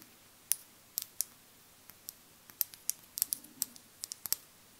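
Long nails tap a small glass foundation dropper bottle with a dropper cap, filled with beige liquid, close to the microphone. About sixteen quiet, sharp, high-pitched clicks come at an irregular pace, each very bright and dying away instantly with no ringing.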